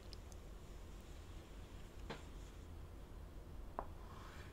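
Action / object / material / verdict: scrape / chalk stick on a wooden-framed chalkboard / chalk / none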